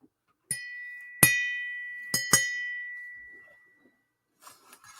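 A steel blade is struck or flicked four times, each hit giving a clear, high metallic ring around 2 kHz. The tone sustains and slowly fades over about a second or more, a lovely, clean ring. A few faint soft sounds follow near the end.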